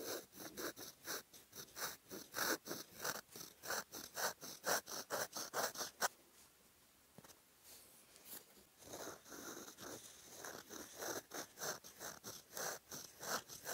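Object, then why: Metal fountain pen nib on lined paper page. A metal fountain pen nib writes cursive in green ink on a flat white lined notebook page, scratching the paper. Quick, bright scratchy strokes come in a steady run, pause into near quiet for about three seconds with only a faint sound, then resume.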